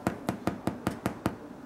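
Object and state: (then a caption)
Baked bread loaf, hollow (done). An oatmeal bread loaf, baked for 45 minutes, is tapped instead of being tested with a knife, giving seven short, dull, hollow knocks. The hollow sound marks the loaf as done.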